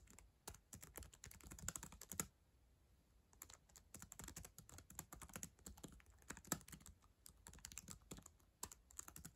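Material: Plastic.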